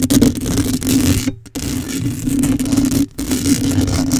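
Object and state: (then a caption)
Metal mesh microphone grille being scratched. Long acrylic nails scratch with both hands across the hollow metal mesh grille of a black microphone. The result is a dense, continuous rasping scrape over a steady hum near 230 Hz, broken by two brief drop-outs of near silence around 1.4 and 3.1 seconds.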